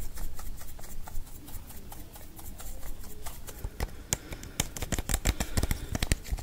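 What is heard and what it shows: A small, hollow green plastic prescription-style pill bottle with a cap, its contents not visible, is held in the hand in front of a microphone and handled with the fingertips, tapped or shaken. Soft, low handling rustle over a steady low rumble gives way to a run of sharp, bright, dry clicks that grow denser and louder toward the end, each stopping almost instantly.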